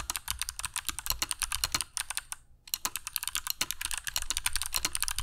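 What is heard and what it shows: Fingertips of both hands type continuously on a compact black mechanical keyboard with dark PBT plastic keycaps and Kailh Box Jade switches, resting on a cork desk mat. About 35 sharp, bright clicky keystrokes come in a rapid stream, each dying away almost at once, with a brief pause in the middle.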